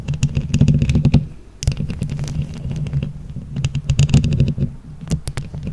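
Long nails quickly tap and scratch a microphone grille covered in plastic flower rhinestones. The result is a fast, irregular stream of close, boomy low thuds and rubbing, with a dull tone near 133 Hz and sharp bright clicks on top. The sound drops briefly about a second and a half in, then picks up again.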